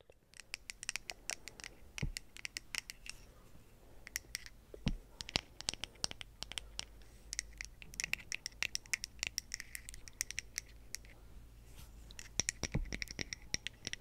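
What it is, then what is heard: Wooden bristle brush. Long acrylic nails scratch and tap along the solid light wooden back and edge of a small hand-held brush with pale natural bristles. Rapid, dry, bright clicks and scratchy strokes come in quick irregular bursts, each dying away almost instantly, over a quiet, steady low hum.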